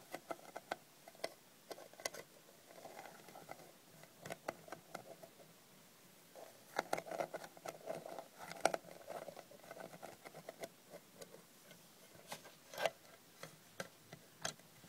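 Long red nails tap and scratch the printed lid of a small, closed, hinged aluminium Sucrets cough drop tin, which sounds hollow. Sharp, bright clicks come in quick, uneven bursts over a soft scratchy patter, with a faint tinny ring around 670 Hz that dies away almost at once.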